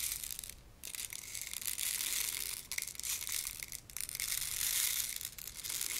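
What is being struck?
Plastic rain maker tube filled with small beads.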